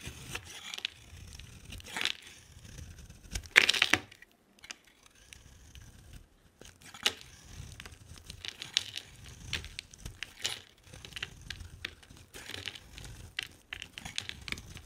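A utility knife blade cuts curls off a solid, hand-sized green bar of soap with a yellow border. Dry, crisp scraping and crunching come in short bright bursts, with the loudest cut just before the four-second mark. Quiet pauses separate the strokes.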